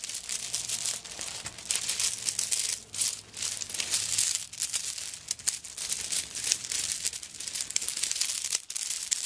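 Long nails scrape and scratch across a handbag covered in coconut shell chips, held tilted. It makes a dense, bright, crackly scratching with almost no low end. The scratching runs nearly nonstop, broken only by brief pauses.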